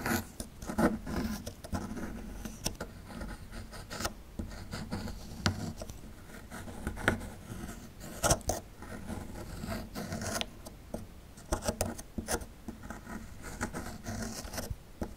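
A small metal chisel tool scrapes and chips at the edge of a small, solid plaster fossil excavation block carved with a dinosaur relief. Dry, gritty scratching runs throughout, broken by many sharp, bright clicks and chips that stop almost instantly.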